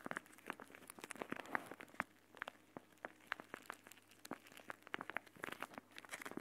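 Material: Plastic.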